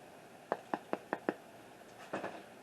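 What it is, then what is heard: Baked bread loaf, hollow and done. A small Spanish bread loaf, turned over after 23 minutes in the oven, is tapped on its bottom: five quick, evenly spaced hollow knocks, then a couple of softer taps. The hard, hollow sound shows the golden-brown, flour-dusted loaf is baked through.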